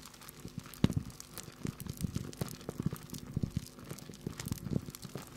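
A hand-sized clear plastic bag full of small yellow dried corn kernels is held up and handled with the fingertips, crinkling the bag and shaking the kernels. Dense, dry crinkles and short rattling clicks come in quick irregular bursts, weighted low with faint bright crackle, and each one stops almost at once.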